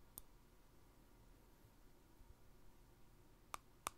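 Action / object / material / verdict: tap / small glass jar with plastic lid / glass / none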